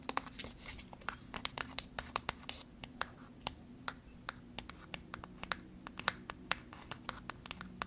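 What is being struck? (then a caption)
Small cardboard box. Long fingernails scratch and tap on a small white cardboard box. A rapid, uneven series of sharp, dry, bright clicks rises over soft scratching and a faint steady low hum, each tap dying away at once.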